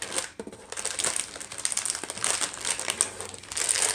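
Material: Plastic.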